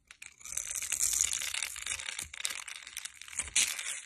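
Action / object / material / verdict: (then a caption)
scrape / bar of soap scraped by a metal blade / soap / none. A metal utility blade scrapes and cuts the surface of a solid bar of white soap held in the hand, carving out cubes and curled shavings. It makes a dense, bright, crumbly scraping and crackling that runs almost continuously, with louder crisp bursts near the start and end and very little low end.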